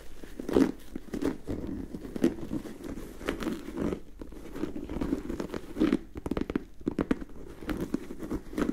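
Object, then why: Leather and rubber sneaker. Long nails scratch and tap the leather upper and rubber sole of an empty turquoise sneaker held close. The result is a steady run of soft, dull scratching and crinkly tapping, muffled in tone with most energy in the low mids and very little brightness.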